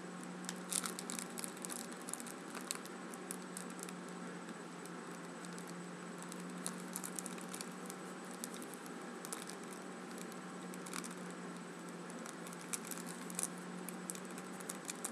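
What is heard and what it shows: An orange Post-it pad, a small solid block of paper held in both hands over a wooden table, is tapped and scratched across its top and edges by long acrylic nails. The result is a quiet, steady patter of light papery taps and scratchy crinkles, with frequent bright clicks over a constant low hum.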